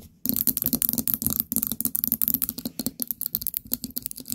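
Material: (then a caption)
Ceramic. Long painted nails tap rapidly on a small orange ceramic pumpkin-shaped candle jar with a lid and gold stem knob. After a brief silence, a dense stream of short, dry clicks follows, with bright high ticks and little ring.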